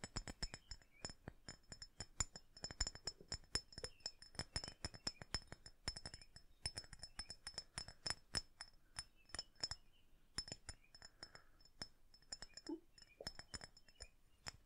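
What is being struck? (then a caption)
Small flat glass perfume bottle. A small, flat red glass perfume bottle is held in both hands near the microphone and tapped and clicked with fingertips and nails. The result is a steady stream of quick, bright glassy clinks and ticks with very short ring, plus faint soft handling scrapes between them.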